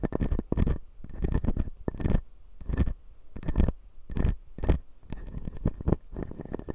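Fingernails scratch along the upper teeth of a clear acrylic full-jaw dental model with white resin teeth. Short bursts of dry, rapid scratching repeat through the clip, each a quick run of tiny scrapes with a strong low thump and a faint bright edge, separated by brief near-silences.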